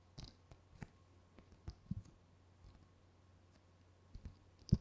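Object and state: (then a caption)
Glossy paper brochure. A thin, flat, glossy paper Corsica Linea brochure, held in both hands, is scratched and tapped with long painted fingernails. About eleven short, dry clicks and scratches stand out, the last one loudest, over a quiet low hum.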